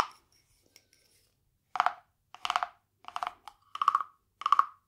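A small, hollow, carved wooden frog guiro, painted glossy green with a ridged back, is held in one hand and rubbed and tapped along its ridges with a green wooden stick. After a faint tap and some quiet clicks, a series of short, rasping, ratcheting scrapes follows, each with a hollow woody tone centred near 1.1 kHz. The scrapes are dry and stop almost instantly, with no ring.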